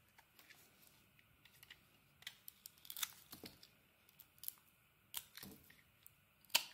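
A solid pink bar of soap, held in the hand, is shaved with a metal snap-off blade, curling off translucent soap curls. Quiet, bright, crisp scraping and crackling strokes come in short bursts with brief pauses, each ending almost instantly with no low-end body.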